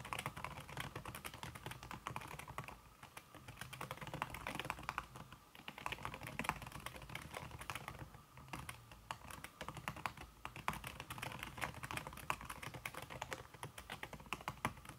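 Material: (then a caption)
Silicone. Fingertips with red-painted nails type fast on a slim backlit aluminum keyboard whose keys are covered by a red silicone skin. The result is a dense, steady stream of soft, muffled key taps with short, dry clicks and slight dips in pace around the third and eighth seconds.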